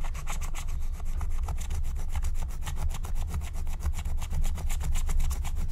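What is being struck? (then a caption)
Coated scratch-art paper sheet. A wooden stylus scratches a thin black-coated scratch-art card lying flat, using rapid back-and-forth strokes that reveal colour underneath. The result is a steady, rhythmic, raspy scratching that sounds much like fast sawing, over a constant low rumble.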